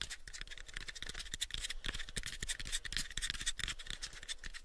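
Fingernails scratch and fingertips tap on the sides of a pale, unfinished, hollow wooden box about a 7-inch cube. The result is a steady run of bright, dry scratching layered with quick, short-lived hollow taps and a soft low thump under each one.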